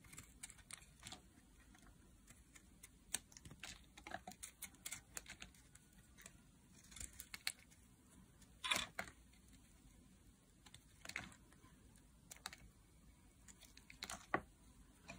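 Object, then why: Bar of soap cut with a metal blade. A solid teal block of dry bar soap, held in the hand, is shaved with a metal blade into flakes. Short, crisp, bright scraping and crackling cuts come in irregular bursts over a quiet background, each fading quickly.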